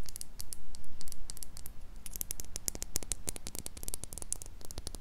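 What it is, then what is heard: Glass jar with metal lid. Long pink acrylic nails tap and scratch the sides of a small, empty clear glass jar with a silver metal screw lid, held in both hands close to the mic. Quick, irregular bright clicks come in dense bursts over a soft scratchy rustle and a low rumble, each tap dying away almost at once.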